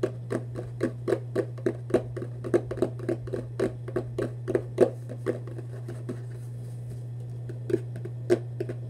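Fingers tap and scratch the lid and side of a hollow Vans cardboard shoebox held horizontally at chest height. Quick, dull, hollow taps with short bright clicks come in an uneven stream, pause briefly near the end, then return, all over a steady low hum.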